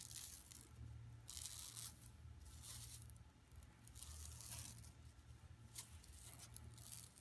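Long nails scratch across an empty, flat yellow woven plastic mesh tote bag lying on carpet. Repeated bursts of bright, rasping scratches rise and fall over a steady low hum.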